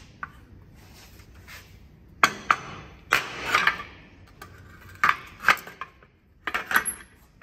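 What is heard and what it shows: A steel-headed hammer with a wooden handle taps about ten times on a damaged, crumpled, thin sheet-steel car body panel with bare metal patches, held by hand and likely backed by a steel dolly, to reshape it. The taps are sharp, bright metallic clinks with a short ring around 1.1 kHz, spaced unevenly with some quick pairs.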